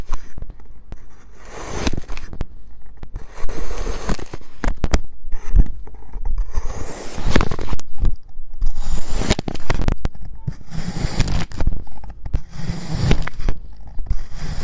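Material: Kinetic sand.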